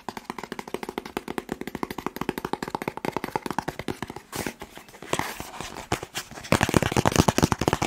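Fingertips rapidly tap a long, hollow, white and blue cardboard box held in the hands, making a fast run of dull, short knocks with almost no ring. The taps blur into a dense stream that turns brighter, breathier and louder in the last seconds.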